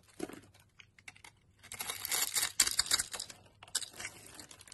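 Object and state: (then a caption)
Soap bar being carved with a knife. A utility knife scrapes and cuts scored cubes off a solid yellow soap bar held in the palm. Sparse crisp clicks give way to a dense burst of bright, crunchy scraping and crumbling in the middle, then scattered cuts again. The sound is dry and high with almost no low end.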